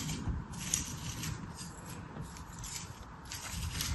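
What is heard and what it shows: A metal craft knife scrapes and cuts along the surface of beige kinetic sand packed into an orange plastic star mold held in hand. The result is a soft, steady gritty scraping with a bright hiss over a low rumble, swelling and easing without distinct separate hits.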